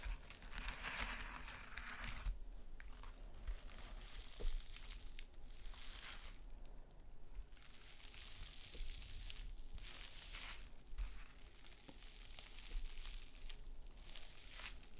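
Long manicured nails scratch and tap a small, flat, rectangular gold metallic knit-mesh scrub sponge over soft padding, resting on a sequin mat. Bursts of bright, crinkly scratching alternate with soft, quick taps over a steady low background hum.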